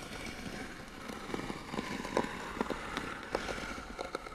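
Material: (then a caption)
Wood. Fingernails quickly scratch and tap the lid of a small, hollow, white painted wooden box. A steady dry scratching hiss runs throughout, with about eight sharp, hollow taps that die away almost instantly and carry a woody tone around 540 Hz.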